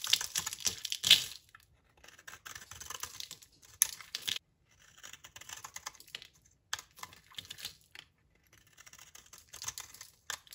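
A utility knife blade shaves thin curls off a solid, rectangular, dry purple soap bar held in the hand. It makes crisp, dry scraping and crackling strokes in short bursts separated by brief pauses. The sound is bright and high with almost no low end.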